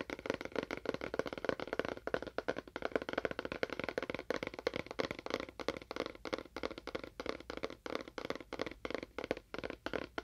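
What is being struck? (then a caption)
Cardboard box. Fingernails tap rapidly on a cardboard box with a faux wood finish, making a steady stream of dry, clicky taps. Each tap is very short with almost no ring, centered in the midrange with little low end.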